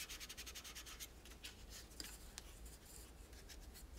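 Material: Plastic.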